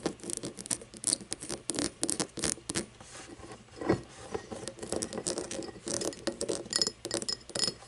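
An empty cut-crystal glass tumbler is held on its side while long painted nails tap and scratch its star-cut base and sides. Quick, bright clicks and rasping scrapes follow one another in an irregular stream, with brief glassy pings and almost no low end.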